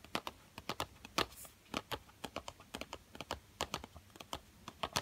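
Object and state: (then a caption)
Cardboard pencil box. Fingertips and short nails tap and scratch the printed front of a yellow Crayola cardboard box full of coloured pencils seen through its window. Quick, dry, bright clicks come in an uneven patter with short scratchy brushes between them, each tap dying away almost instantly.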